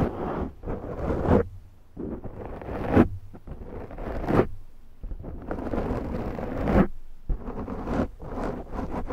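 Long glittery nails of both hands slowly scratch the top of a large round black foam windscreen on a Zoom microphone. Deep, muffled rustling swells in and out in repeated strokes, heavy in the low end with occasional brighter scratchy peaks.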